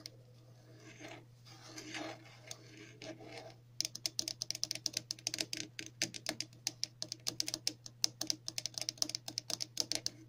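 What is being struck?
Plastic bottle cap.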